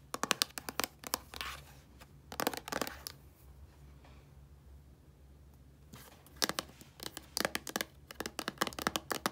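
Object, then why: Small plastic shampoo bottle. Long nails scratch the label of a small, hollow white plastic shampoo bottle that is filled, and tap on the bottle. Bursts of quick, crisp clicking taps and dry scratching come in clusters, with a quiet stretch in the middle before the rapid tapping resumes.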